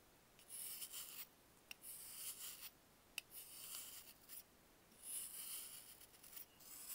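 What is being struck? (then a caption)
Dried baking soda block. A solid block of dried baking soda is shaved by hand with a box-cutter blade. Bursts of bright, hissing scraping rise and fall across the clip, with two sharp clicks in between.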